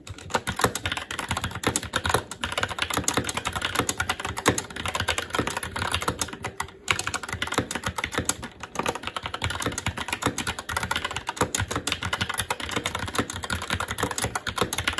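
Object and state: Mechanical keyboard with plastic keycaps on a metal plate.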